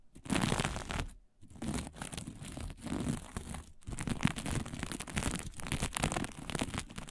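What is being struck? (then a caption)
Sequin-covered fabric sheet. Long fingernails on both hands scratch fast across a flat sheet of fabric covered in blue sequins. The result is a dense, crackly, crinkling rasp in continuous bursts with short pauses, a low rustle underneath and bright, scratchy edges.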